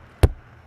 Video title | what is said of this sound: SOLD! NiceCampers.com THIS BUMPER PULL HAS A BASEMENT!! | bang on the sidewall you'll never hear that thud it'll sound a whole lot different